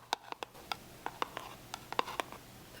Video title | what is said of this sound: Hanging out w great sounds! ASMR softly spoken and nail tapping | The box is so tiny. You can hear how tiny it is. Listen to the tiny little taps on the box.